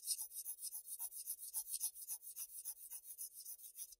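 A graphite pencil rubs along a shaded column on a flat sheet of Bristol paper in steady, scratchy strokes. Thirteen quick, quiet rasps come at a fairly even pace over four seconds, each a bright, papery scratch with almost no low end and no lingering ring.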